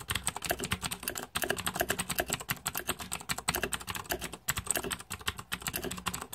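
Rapid fingertip typing on a green-backlit 2014 Razer Deathadder mechanical keyboard with plastic keycaps produces a steady stream of sharp, bright clicks and clacks. The keystrokes come in fast, overlapping bursts with brief pauses.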